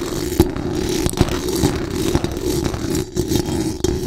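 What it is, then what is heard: Metal mesh microphone grille being scratched. Very long acrylic nails scratch fast and hard across the hollow metal mesh dome grille of a large condenser microphone. The result is a continuous, dense rasping scrape, heavy in the low and low-mid range, with sharp clicks and taps popping out above the steady scratching.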